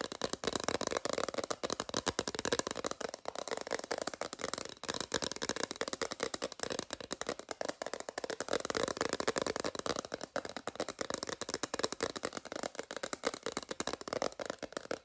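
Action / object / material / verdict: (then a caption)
tap / hard plastic phone case / plastic / none. An empty, transparent hard plastic phone case, held horizontally, is tapped with long green nails for about 15 seconds. The result is a rapid, continuous stream of sharp, dry plastic clicks with very short decay, bright in the mids and highs and with almost no bass.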